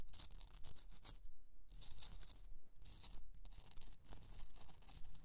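Long pointed nails scratch the crystalline surface of a rough, hand-sized, hollowed pink Himalayan rock-salt candle holder resting on fur. Quick, fairly regular strokes produce bright, dry rasping bursts over a soft low rumble, with brief quiet gaps between passes.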